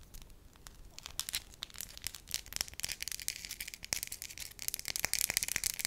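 A thin, solid, beige wax sheet about the size of a hand is crinkled and scratched with long lilac nails. The result is a quiet, bright, dry crackling made of dense, rapid clicks and scratches with almost no low end. It grows busier and louder toward the end.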